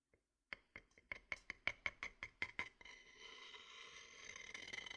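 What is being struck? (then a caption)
Wooden bowl with a thin wooden stick. A thin wooden stick, held upright inside a medium-sized, empty, hollow, dark-grained wooden bowl in front of a binaural mic, scrapes and rubs against the bowl's inner surface. A quick series of short, bright, woody clicks with a ringing tone around 2.2 kHz gives way to a steady, hissy, high scraping rub that builds slightly toward the end.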